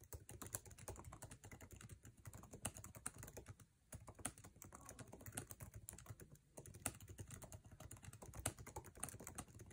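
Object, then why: Laptop keyboard, plastic keycaps in a metal body. Fast fingertip typing on a MacBook Air laptop keyboard, its plastic keycaps set in an aluminum chassis. Dense, sharp clicks rattle out in quick bursts over a low thump, with brief pauses near the four- and six-second marks before the rapid tapping resumes.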